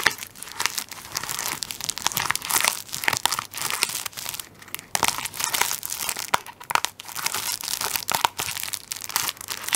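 Fingertips and nails scratch and rub the plastic film over the end of a plastic-wrapped tissue paper roll turned on its side. The result is a dense stream of bright, crisp crinkling and scratchy rustling with quick bursts and almost no low end.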